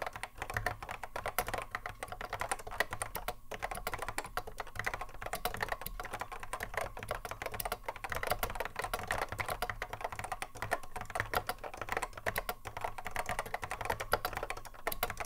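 A cream Apple M0110A keyboard with a hollow plastic case and Alps SKCC mechanical switches, sitting on a wooden desk, is touch typed continuously with the fingertips of both hands. The result is a steady, dense stream of short, sharp clacks with a mid-pitched, hollow plastic tone and very little ring.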